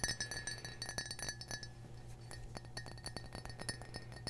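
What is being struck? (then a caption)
Glass mug. A red glass mug is tapped repeatedly, giving a rapid series of short, bright glass clinks with a clear high ringing tone that fades quickly. A steady low hum runs underneath throughout.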